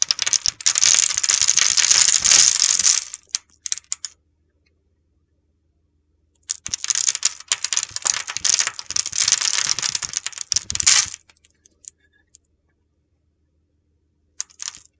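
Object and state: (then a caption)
Bar soap being shaved. A utility knife blade shaves across a solid, grid-scored oval red soap bar, breaking off little soap cubes. Two bursts of dense, crisp, high-pitched crunching and scraping, each about three to four seconds long, are separated by a few seconds of near silence. A few faint ticks trail off at the end.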